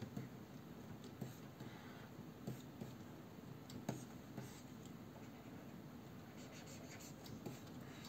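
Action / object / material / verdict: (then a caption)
scrape / plastic stylus nib on a matte glass display surface / glass / none. A plastic stylus nib scratches and taps across the matte glass surface of a large, solid Wacom Cintiq 22 pen display while drawing lines. A quiet, steady low rasping scratch runs throughout, broken by about seven short, soft taps that carry faint bright clicks and die away almost at once.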